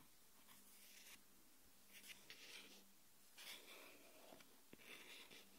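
Long nails tap and scratch the aluminium back of a small smartphone lying face down on a wooden table. Quiet bursts of high, hissy scratching alternate with a few sharp taps over a faint, steady low hum.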